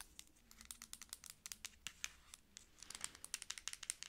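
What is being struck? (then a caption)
Plastic pump bottle. Long acrylic nails tap and scratch along a medium, dark plastic pump bottle of body lotion with a paper label that looks full. About two dozen quick, dry, bright clicks and scratchy rasps come in an uneven rhythm, with almost no low end and no ring after each hit.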